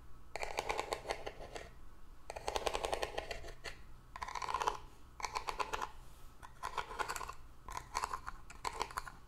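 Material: Cardboard.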